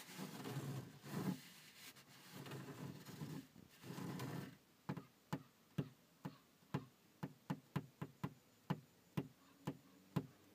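Fingertips and nails scratch and rub across the wide, dark, grained top of a Mini Cooper's textured plastic dashboard over a hollow structure, making rough, low, rustling strokes for about four and a half seconds. Then 13 separate, dull, short knocks follow at a slow, uneven pace, each dying out almost at once.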